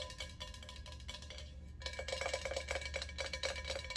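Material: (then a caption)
Stainless steel. Long acrylic nails tap rapidly on an empty, hollow, hammered stainless steel ice bucket held upright, making a quiet, fast, uneven clicking with a short metallic ring pitched around 540 Hz. The tapping grows louder and brighter after the first two seconds, over a steady low hum.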